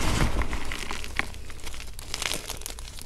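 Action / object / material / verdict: scrape / gym chalk chunks and powder / chalk / none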